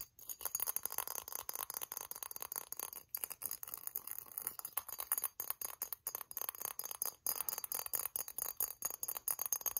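Long nails rapidly tap and scratch the textured body and crown leaves of a hollow, silver-glazed ceramic pineapple ornament with holes, held in the hands. Quick, bright clinks and dry scraping come in dense, uneven bursts with very short ring and almost no low end.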